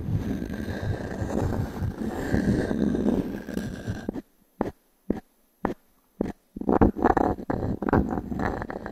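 A small wooden cube, held in the fingers of one hand, is rubbed and scratched across the ring-grain surface of a solid, round, natural pine log-slice coaster with a bark edge, held in the other palm. A dense, grainy, low-to-mid scraping runs steadily for about four seconds. Four short, separate strokes with quiet gaps follow, then the rough continuous scratching resumes.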